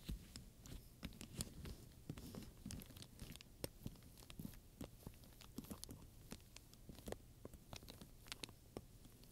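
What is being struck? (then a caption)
Leather handbag with metal studs. A wooden pointer taps and scratches across a medium black leather purse covered in round metal studs, with a ring and clasp, while long nails touch the surface. Many quiet, sharp clicks and taps ring out with bright ticks, over a soft, steady low rumble and faint scraping.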